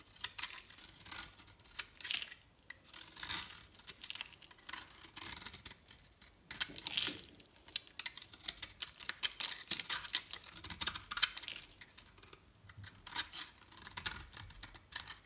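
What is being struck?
Bar of soap shaved with a metal blade.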